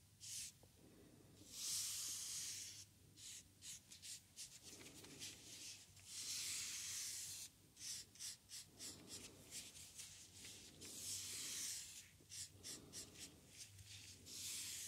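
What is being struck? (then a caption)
Foam paint roller sleeve scraped with a wooden stick. The edge of a wooden craft stick is scratched across a small, hollow white foam paint roller sleeve with a red core, held horizontally. This makes bright, hissy rasping strokes. Long sweeping scrapes alternate with clusters of short, quick scratches over a faint low hum.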